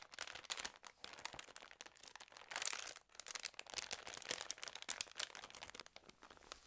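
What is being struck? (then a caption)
Paper magazine. Long nails riffle the edges of the wavy, water-damaged pages of a Trends news magazine, then the cover is closed and fingertips rub and press it. A dense run of bright, crisp paper crinkles and rustles follows, with a short pause near the middle and no low end. The rustling continues more softly toward the end.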